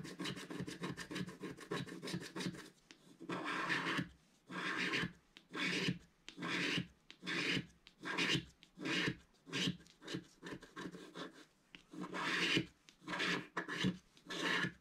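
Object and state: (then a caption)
Scratch-art paper being scraped. A thin wooden stick scrapes across a flat, black-coated scratch-art paper page in a book. It starts with a quick run of short, dense rasping scratches, then settles into slower, separate strokes of about a second each. Each stroke is a dry, bright, papery rasp with no ring after it.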